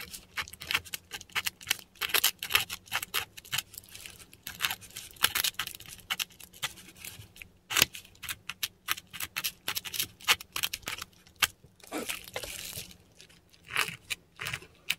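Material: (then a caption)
Paper. A metal dip pen nib scratches across a textured Korean paper sheet while writing Latin letters. Dense, irregular bursts of short, dry, high-pitched scratching come in quick strokes with brief pauses between them, over a faint steady low hum.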